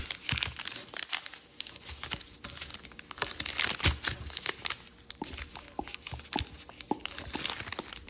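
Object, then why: Thin origami paper. Green patterned origami paper, folded into a narrow shape, is creased by fingertips pressing it against a table. The result is dense, bright crinkling and rustling broken by short, crisp snaps and taps that die away almost instantly, with a faint low thump underneath.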